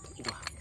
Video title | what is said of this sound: PABRIK ROLLER DEMO AKIBAT VIDIO INI | pas aku digoyang-goyang Wah teman-teman ternyata bunyinya itu berasal dari sini